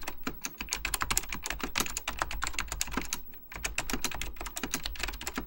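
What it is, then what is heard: Plastic mechanical computer keyboard being typed on. Fingertips of both hands type quickly on a full-size beige plastic Apple Extended Keyboard II with mechanical key switches. The result is a dense run of sharp, bright clicks with very short decay and a low thump under each keystroke, with a brief pause midway before the typing resumes.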